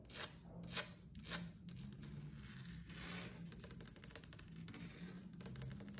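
Long acrylic nails on one hand tap and scratch a flat, solid wood-grain tabletop, possibly laminate. Three sharp, bright taps open the clip, followed by a steady stretch of scratching and rapid, clicky tapping that stays quiet and dry.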